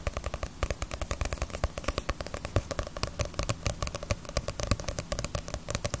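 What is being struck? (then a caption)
Paperback book with a glossy paper cover. Fingernails tap quickly and steadily on the cover and spine of a small, solid Naruto paperback manga volume with a glossy paper cover, held in the hands. The taps are short, dry clicks with a soft low thud beneath them. Each one stops almost instantly, and they run in a continuous, uneven patter.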